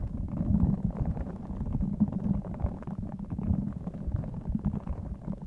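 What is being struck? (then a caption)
Rubber spiky squishy ball filled with beads. A small clear spiky rubber squishy stress ball filled with colorful beads is held in both hands close to the microphone, squeezed and rubbed with the fingertips while its spikes are scratched. It makes a dense, continuous low squelching and rumbling crackle with faint bead rattles, mostly deep with almost no high end.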